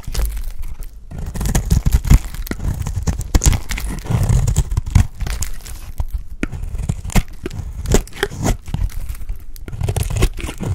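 A dry, solid lilac soap bar held in the fingers has thick chunks cut and scraped off it with a utility blade. Dense, crumbly crunches and scraping tears repeat almost continuously, deep and low-heavy with little ring. The cuts stay close, tight and dry, without echo.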